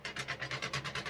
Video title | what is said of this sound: Rolling Shafts | you can hear it having a little bitty tick on it but you know that's a straight staff that's gonna shoot straight out of your bow